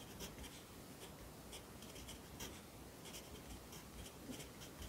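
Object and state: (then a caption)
Pencil writing on a paper notebook page. A yellow wooden pencil held in the fingers writes across the page of an open lined paper notebook lying flat on a desk. Soft, steady graphite scratching on paper continues throughout, with brief bright bursts at each stroke over a quiet low background.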